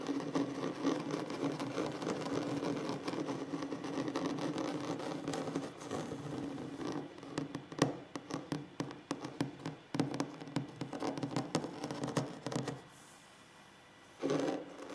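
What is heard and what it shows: Fingertips with short nails scratch a large solid wooden tabletop in a dense, steady rasp for about six seconds, with a warm low-mid tone near 280 Hz. The scratching then breaks into a run of sharp, uneven taps and short scrapes. A near-silent pause follows before one last brief burst of scratching at the end.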